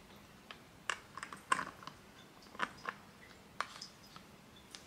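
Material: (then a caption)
Plastic. Fingertips and nails repeatedly flip open and snap shut the hinged, metallic-look plastic flip-top cap on a medium plastic Bath & Body Works lotion bottle partly full of white lotion. About a dozen sharp, dry clicks sit apart over a quiet background, each bright with a focus near 1 kHz and dying away almost instantly.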